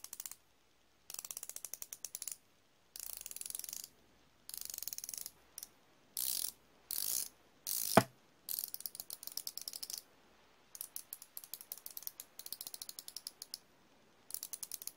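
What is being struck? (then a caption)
Steel flexible-head ratcheting wrench. A chrome steel flexible-head ratcheting wrench is held in the hand while the fingers click its ratchet head. Bursts of rapid, bright ratcheting clicks start and stop with short pauses in between, with one sharper, louder click partway through.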